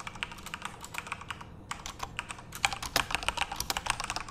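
Both tattooed hands type rapidly with their fingertips on a full-size, RGB-backlit Corsair mechanical keyboard with plastic keycaps, in a dark room. The keystrokes are fast, uneven, sharp clacks that are bright and quick to fade, with little low end. There is a brief lull near the middle, then a denser, louder run of keystrokes.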